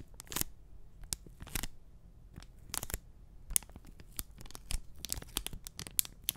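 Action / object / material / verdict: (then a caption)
scrape / enamel pin on a cardboard backing card / cardboard / none. A small, flat printed cardboard backing card holding an enamel pin is held over the microphone and scratched and tapped with short nails and fingertips. The clip is a quick run of dry, crisp scratches and papery taps with bright, rasping edges over a faint low rumble. Each sound cuts off at once with no ring.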